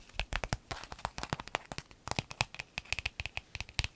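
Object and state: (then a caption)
Clear vinyl zip bag. An empty, clear lemon-print vinyl pencil zip bag lying on a table is scratched and rubbed with long nails. It makes a rapid run of short, crisp crinkling scratches and ticks, bright and crackly with a little low thump beneath. Each sound dies away almost at once.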